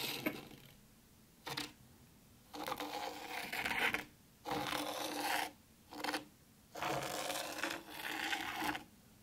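Long pointed pink nails on one hand scratch letters into fine white sand in a black round tray. The sound is a dry, gritty, bright rasping in six separate bursts of scratching, from short quick strokes to longer drawn-out ones, with near silence between them.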